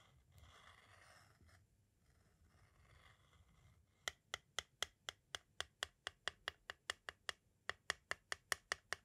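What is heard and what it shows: A pointed tool scrapes and then rapidly taps the face of a small, hollow, white hard-plastic audio cassette shell. Soft, scratchy rubbing comes first, then a brief lull. It ends with a quick series of 22 sharp, bright clicks that die away almost instantly.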